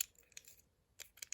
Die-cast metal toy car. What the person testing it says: just when you shake it around, it's just a lot of movement